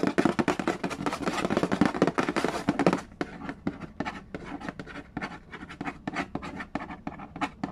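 Fingernails scratch and fingertips tap the lid of a hollow cardboard Yahtzee board game box. For about the first three seconds a dense, fast scratching fills the sound, then it gives way to a run of quick, dry, hollow taps with short pauses between them. Each tap is crisp and dies away almost at once.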